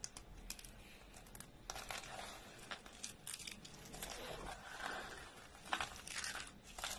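Dry orange soap flakes are snapped with the fingertips, then squeezed in a closed fist. The result is a run of quiet, bright, crisp crunches and crinkles with brief sharp snaps and little low-end weight.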